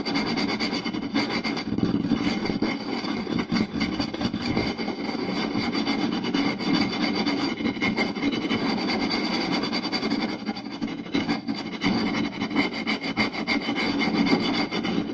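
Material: Wood.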